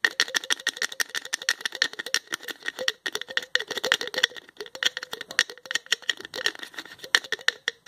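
A small plastic tube with a green label and a white plastic flip cap has its cap twisted and clicked with the fingertips. The result is a rapid, continuous stream of dry plastic clicks and rattles with a tight tone near 1.8 kHz, some body around 500 Hz and bright high crackle. Each click dies away almost instantly, with no low end.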